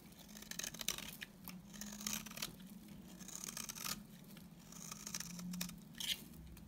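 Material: Soap.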